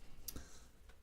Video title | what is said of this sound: Mon nouveau PC portable : Lenovo V130-14IKB | si ça sonne creux, c'est parce que c'est là où il est censé y avoir un disque dur et qu'il n'y en a plus